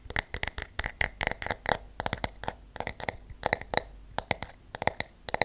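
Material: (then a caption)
Wood. A wooden hairbrush with wooden pins has its wooden body tapped and its pins scratched with fingernails. The result is a quick, irregular series of short, dry, bright clicks and taps with almost no ring, centered in the midrange around 800 Hz and 2 kHz.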